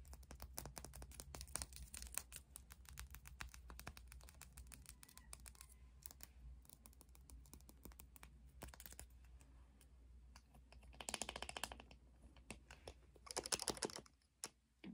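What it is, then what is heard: Glass dropper bottle. A small orange glass dropper bottle, filled with red liquid and topped with a white dropper cap, is held in the hands and tapped quickly with long nails on its glass body. Rapid, bright clicking runs throughout, with denser bursts of scratchy, rustling sound near the end, over a steady low hum.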